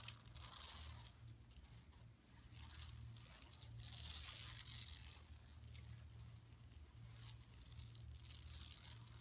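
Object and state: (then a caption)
Woven plastic mesh bag. Long nails on both hands scratch and rub the weave of a flat, empty yellow woven plastic mesh tote bag lying on carpet. The result is a continuous bright, dry rasping and crinkly scraping that swells and fades in quick, uneven strokes over a steady low hum.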